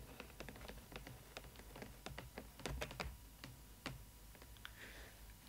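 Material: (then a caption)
Plastic. Long nails tap on the clear plastic window over a Disney ILY 4ever Stitch doll in its cardboard box. A quick, uneven run of crisp, light clicks rings briefly over a steady low hum, ending with a short soft swish.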